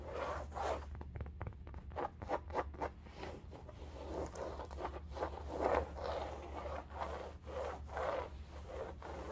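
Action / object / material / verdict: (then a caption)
scrape / woven upholstery fabric bolster pillow / fabric / none. Long gold nails scratch back and forth along the woven upholstery fabric of a cylindrical striped bolster pillow. The result is a run of quick, dry, raspy strokes centered in the midrange, with a steady low hum underneath.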